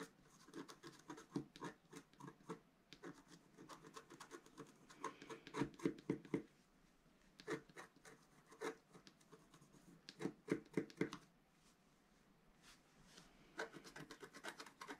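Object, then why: Black-coated scratch paper scratched with a wooden stylus. A black-coated scratch art paper sheet on a table is scratched with a wooden stylus in short strokes near its top edge. Quiet, dry scratching comes in quick irregular bursts, with brief pauses between clusters.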